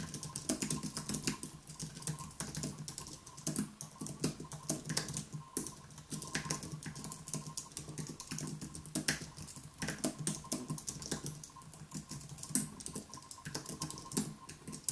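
Both hands type continuously on a compact white Apple-style wireless keyboard, with white plastic keys on a thin aluminium base, resting on a wooden desk. Fingertips tap the keys in a steady stream of quick, light, bright clicks with short decays. A faint steady hum and tone sit underneath.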